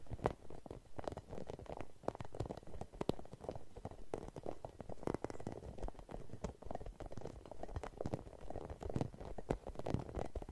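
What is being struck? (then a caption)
Rubber spiky massage ball. A red, hollow, spiky rubber massage ball is scratched and tapped with long nails. Quick, soft, dry ticks and scratchy rustles come in a dense, uneven stream, heavy in the low end and muffled, with each tap dying away at once.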